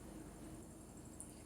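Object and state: Nothing is struck.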